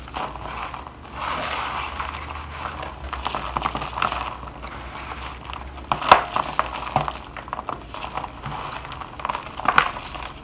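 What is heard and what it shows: Nitrile-gloved hands rub, crush and sprinkle a pile of dry white shaved bar soap in a black plastic bowl. The result is a steady, dry crunching and crinkling with a soft rustle underneath. Sharper, louder crackles stand out around the sixth second and again near the end.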